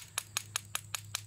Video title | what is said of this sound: Quick Cleaning Iron Civil War Relics From A Recent Adventure | you'll hear the cocoons break away from the on the side of the shell